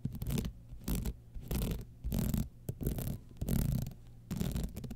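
Long manicured nails scratch the rhinestone-studded surface of a small, hollow, empty-looking gold evening clutch bag, covered in glass rhinestones on a metal and fabric base, lying on its side on white fur. The scratching comes in short, irregular bursts of dense, gritty rasping, heavy in low rumble, with quiet pauses between strokes.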